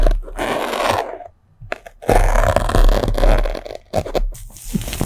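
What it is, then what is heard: Melamine foam sponge scratched with a pin. A thin metal sewing pin pokes and scratches into a small white block of melamine foam sponge held between the fingers. The result is a close, dry scraping and crunching texture in uneven bursts, with two quieter gaps around 1.3 and 3.9 seconds.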